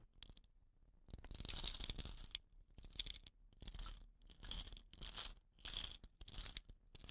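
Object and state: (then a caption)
Bamboo rain stick. A hollow, dot-painted bamboo rain stick with woven rattan end caps is rubbed and rolled under fingertips, then gripped by an end cap. This sets the filling rattling in a series of bright, crunchy, rustling bursts that swell and fade, with a high hiss and a soft low rumble beneath.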